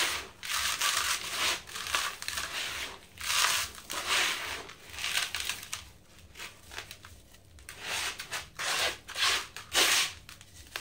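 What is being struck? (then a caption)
Sand-cement block. A dry sand-cement cylinder block sits in a blue bucket while hands crush the material beside it and pour out the crumbled powder. Gritty, bright crunching and hissing come in bursts, with short rests between them. The sound is dry and high, with almost no low end.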